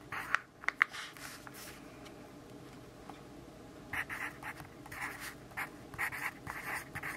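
A yellow graphite pencil writes text on the page of an open grid-paper notebook, making soft, bright scratching strokes. A few sharp strokes come early, then a near-quiet stretch with a low steady hum, before a denser run of quick, uneven scratches resumes in the second half.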